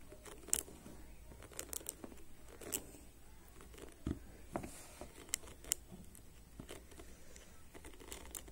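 Fingertips and nails of both hands rapidly scratch and flick the ball-tipped plastic pins of a black plastic hairbrush. Quiet, close-up dry scratching and crinkly rustling is heard, broken by sharp, bright clicks as individual pins snap back. The clicks die away almost instantly over a low, steady background hum.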